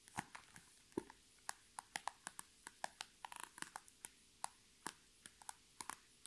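Long red nails tap and scratch the top of a flat, iridescent holographic PVC zipper pouch lying on a table with items inside. It makes a quiet, steady series of sharp, bright plastic clicks that die away almost instantly, with a quicker, scratchier cluster of taps midway through.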